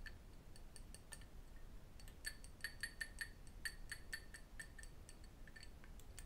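A small cut crystal glass tumbler, partly filled with water, is held in both hands while metal rings and fingertips tap and clink against it. The result is a quiet, irregular run of short, bright clinks with a clear ringing tone near 1.8 kHz that dies away quickly. The taps bunch together in the middle of the clip over a low background rumble.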